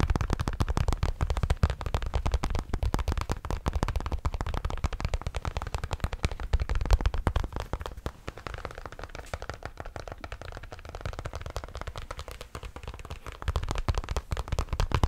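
Fingertips scratch and tap the crown of a grey Bass Pro Shops fabric trucker cap in front of the mic. The result is a dense, rapid stream of short, dry thumps and rustling scratches, heavy in the low end with almost no high content. The activity eases into a quieter, softer stretch in the middle before picking up again near the end.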